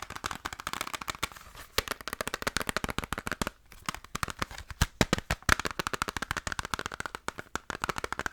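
Fast tapping on the plastic PS1 case of Resident Evil Director's Cut, played against a PS2 case in round 2 of a tapping tournament. Rapid, dry clicks with almost no ring run steadily, with a brief lull partway through. The result is judged only by preference.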